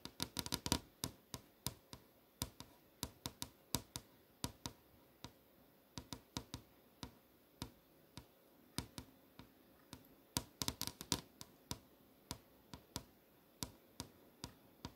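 Long almond-shaped nails tap and click on the surface of a flat LCD monitor screen showing movie tiles, a solid panel. The result is a steady series of short, dry, bright clicks that die out almost instantly, with quick flurries near the start and again around two-thirds of the way through.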